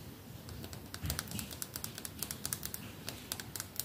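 Fingertips and nails tap the flat, red lacquered back of a solid wooden hairbrush held in front of a lav mic. After a soft, low handling rumble, a rapid, irregular string of short, bright, dry clicks follows, each dying away almost instantly.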